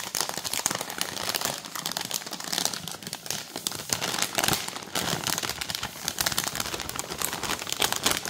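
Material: Plastic film.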